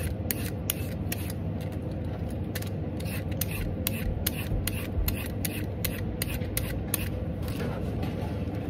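A whole, solid, raw orange carrot is held in one hand over a tub of peelings while a black-handled vegetable peeler scrapes strips off along its length. Repeated short, bright scraping strokes sit over a steady low rumble, and thin peelings come away from the carrot.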